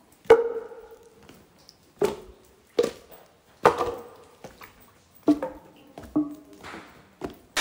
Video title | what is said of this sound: [제주도/동부] 제주도 동부여행 이렇게만 하시면 됩니다(동부Vol.2)(한라산 일정취소)JEJU EP-3 | 踏む時、トントンって言いながらこうやってやるんです。洞窟に響き渡るんです。